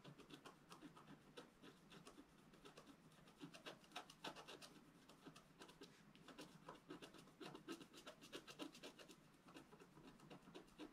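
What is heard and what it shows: A wooden stylus scratches fine lines into a flat, black-coated scratch art paper sheet, about A4 in size, lying on a table. Quiet, dry, short scraping strokes come in an irregular, rapid stream of about four per second. Each stroke is a brief, bright rasp with no ring.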